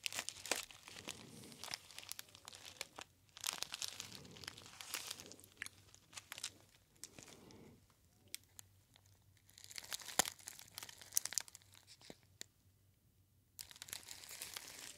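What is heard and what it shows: A gold metallic foil pouch with a label is held in both hands and then by the ear, crumpled and rubbed with the fingertips. Bright, dense crinkling comes in bursts with sharp crackles, broken by short quiet pauses, over a faint low hum.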